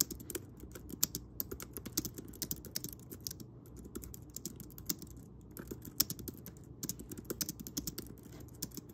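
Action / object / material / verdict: tap / plastic computer keyboard / plastic / none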